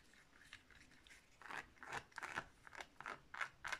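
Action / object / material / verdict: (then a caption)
scrape / plastic steering wheel controller accessory / plastic / none. Long nails scratch and tap quickly across the surface of a cream-coloured hollow plastic Wii wheel held in the hands. Faint scratching gives way to an uneven series of crisp, bright clicks and scrapes with a light hollow plastic tone around 1.5 kHz, each dying away almost instantly.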